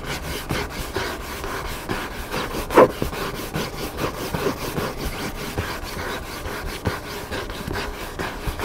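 Fingertips and nails scratch across the cover of a hardcover cookbook lying flat on a table. The result is a steady, dry rubbing and scraping texture, with one louder, sharper scrape about a third of the way through.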